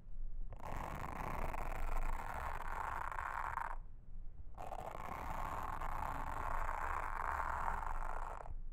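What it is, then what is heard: Silicone honeycomb trivet mat. A pink mascara spoolie brush, held in a hand with long red nails, brushes and scratches a flat, solid, round blue silicone trivet with a honeycomb texture lying on a table. Two long passes of dense, scratchy brushing with a soft midrange hiss around 1 kHz are separated by a short pause, over a low rumble.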